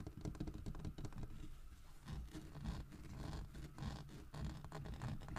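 Fingertips and nails tap and scratch the grooved, carved back of a large, solid carved wooden bear figurine lying on its side on a wooden table. The result is a quiet, steady run of dull, low-heavy taps mixed with soft scratching. Each tap dies away almost at once.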